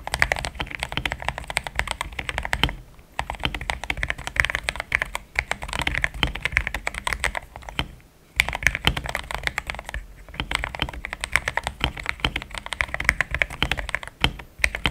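Fingertips of both hands type steadily on a compact pink-and-cream plastic mechanical keyboard with thick XDA-profile keycaps, Gateron Yellow switches and a polycarbonate plate, sitting on a desk mat. A dense stream of short, bright clacks with a soft low thump beneath runs throughout, each keystroke dying away almost instantly. Brief pauses break the typing around 3, 8, 10 and 14.5 seconds.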